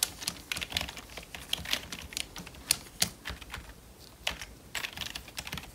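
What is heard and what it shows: Gloved fingertips type quickly on the keys of a full-size, hollow black plastic membrane computer keyboard. The result is a fast, uneven run of bright, dry clicks and soft plastic taps with no ring after each press, with a few louder strikes standing out.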